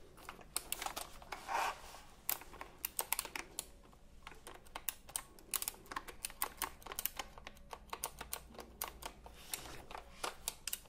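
Fingertips type on the round plastic keycaps of a retro typewriter-style computer keyboard held diagonally. The result is a quick, uneven run of short, dry clacks with bright, high-end snap and almost no ring, over a quiet low background.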